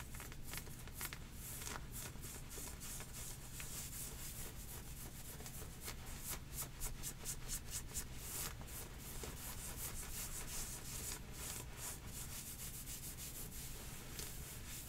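Long painted nails scratch heathered grey knit leggings with a white drawstring, worn on the legs, working both hands over the fabric on the thighs. The result is a steady, dense, bright scratching and rubbing texture over a constant low rumble, with quick rapid strokes and no clear pauses.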